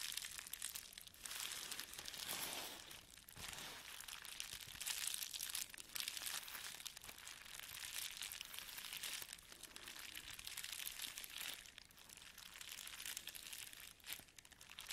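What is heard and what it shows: A flat sheet of clear plastic bubble wrap lies on a table while both hands press, rub and scratch it with fingertips and nails. The result is a continuous, bright crinkling and crackling texture with almost no low end, and its loudness swells and dips as the rubbing changes.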